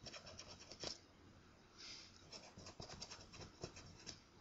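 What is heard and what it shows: A coin held in hand scrapes across the surface of a thin, flat, solid paper scratch-off lottery ticket. It makes a quiet series of short, dry, bright scratching strokes with one longer, softer rasp in the middle. Each stroke stops almost at once.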